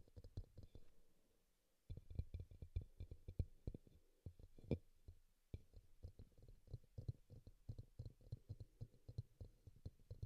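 Fingertips and nails tap the base and side of a small, hollow pink bowl, apparently plastic, set upside down on a green towel with a microphone inside; a green bowl beside it is left untouched. Dozens of quick, dull, low-pitched taps come in rapid bursts, with brief pauses near 1.5 and 5.3 seconds. Each tap is a short, muffled thump that dies out almost instantly.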